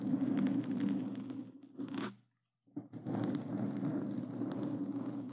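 Black claw gloves with glossy plastic claw tips scratch a black foam microphone cover. The result is a dense, rough crunching and rustling with a low boomy body and bright scratchy detail. It breaks off into a brief silence just past the two-second mark, then resumes just as thickly until the end.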